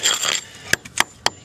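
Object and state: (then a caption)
Hollow cement parging on a stone foundation. A brief rough scraping is followed by three sharp, bright taps on the cement coating over wire mesh on an old, wire-brushed stone foundation, with a fainter tap between the first two. The taps are dry and clicky with almost no ring, revealing a hollow spot in the coating that is not bad.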